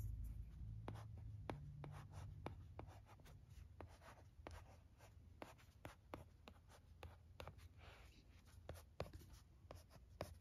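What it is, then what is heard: Plastic LCD writing tablet. A red plastic stylus scratches and taps out handwriting on the screen of a teal plastic-framed LCD writing tablet resting on carpet. Quiet, irregular sharp clicks are heard over a soft low hum, with brief scratchy strokes between the taps.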